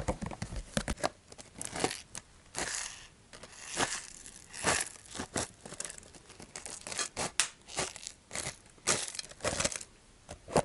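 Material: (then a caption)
Cardboard. An apparently empty cylindrical cardboard chip can with a metal rim and a colorful printed wrapper is handled and scratched with the fingers. The result is a series of crinkling, scratchy bursts that are mostly bright and high-pitched and fade almost instantly.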